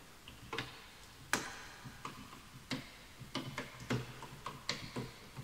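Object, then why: Bamboo wood computer keyboard. Both hands type quickly with their fingertips on a full-size bamboo wood computer keyboard with wooden keys; the mouse is not touched. About 11 sharp, hollow wooden taps land at uneven intervals, each a bright click over a soft low knock that dies away quickly against a quiet background.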